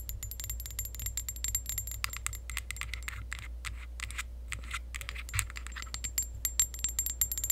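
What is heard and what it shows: Long acrylic nails rapidly tap and scratch a tall, clear glass perfume bottle with pink decoration that is partly filled. The result is a dense stream of short, bright clicks and scrapes, with thin high glassy ringing tones drifting in and out. A steady low hum runs underneath throughout.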